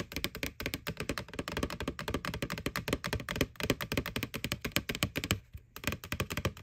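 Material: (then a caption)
Plastic. Long nails tap rapidly on the side wall near the rim of a small, hollow, white plastic ghost Halloween candy bucket from McDonald's, held tilted. The taps are dense, quick, and hollow, with a dry, bright click and a short low thump that dies away almost instantly. The tapping runs continuously, with a brief pause near the end.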